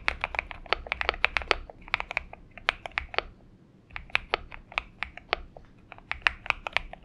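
Steady, rapid fingertip typing on a compact 70% Xinmeng M71 mechanical keyboard with an aluminium case, lubed switches, tape mod and purple gradient PBT plastic keycaps, resting on a desk mat. Crisp, bright clacks with a main pitch near 1.8 kHz follow in quick bursts, with a brief lull around the middle.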